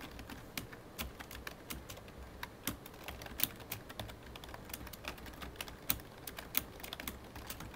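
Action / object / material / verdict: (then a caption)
tap / plastic computer keyboard / plastic / none. Both hands type with their fingertips on a full-size black plastic computer keyboard with a hollow body. Quick, irregular key taps click sharply and brightly over a quiet low background, with a few louder strokes standing out.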